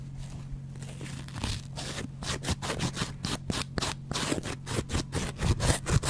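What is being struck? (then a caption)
Foam kitchen sponge with scouring pad. A hand with dark-painted nails holds a yellow foam kitchen sponge with a green scouring layer and scrapes and scratches it with a double-edge metal razor blade. The result is a series of crunchy, tearing scrapes in quick, irregular strokes that grow louder toward the end, over a steady low hum.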